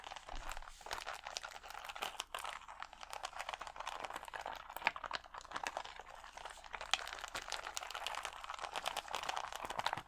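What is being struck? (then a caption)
Acrylic rhinestones on a plastic sheet. Fingernails scratch and tap the gems on a clear plastic sticker sheet of acrylic rhinestones held against the chest. The result is a steady, quiet stream of dry crinkling scratches and rapid, crisp plastic clicks, with bright, crackly detail and almost no low end.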